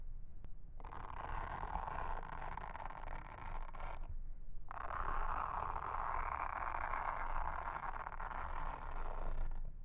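A pink mascara spoolie brush is brushed across a flat, solid, round blue silicone trivet mat with a honeycomb texture, seen close up. Two long, steady passes of soft, bristly scratching hiss centered in the midrange are heard, separated by a brief pause near the four-second mark. A low rumble runs underneath throughout.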